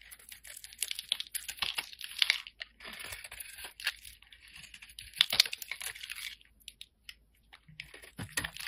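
A sharp metal blade shaves and scrapes the face of a solid, round, mint-green embossed soap bar held in the hand, in repeated strokes, with shavings falling onto the table. The sound is a dry, crisp, bright scratching and crinkling with almost no low end, coming in quick, irregular bursts with a brief quiet gap near the end.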